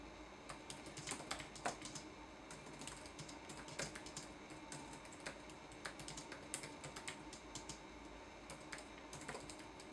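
Fingertips tap the plastic keys of a red-backlit laptop keyboard in fast typing, giving a steady, quiet stream of light, bright clicks with short decays. A few keystrokes land louder than the rest over a faint background hiss.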